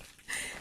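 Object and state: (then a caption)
Synthetic faux-leather fabric. Python-print faux-leather trousers of cotton and polyurethane are handled, giving a single bright, plasticky crinkle that rises sharply and hangs on with a rustling tail. The synthetic imitation-leather fabric sounds like plastic, as its label confirms.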